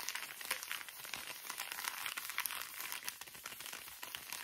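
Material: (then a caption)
Soft plastic. The back side of a full, small, soft plastic wet wipes pouch is stretched and crinkled between both hands. It makes a steady, bright crackling with dense, quick rustling bursts and almost no low end.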